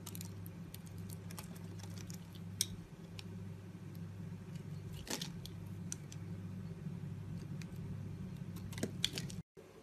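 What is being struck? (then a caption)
Bar of soap cut with a blade. A box-cutter blade scores and chips a palm-sized solid blue soap bar with white stripes, breaking it into small cubes that snap off. Short, bright, crisp clicks and crumbly scrapes sit over a steady low hum, with a few sharper snaps standing out. The sound cuts out briefly near the end.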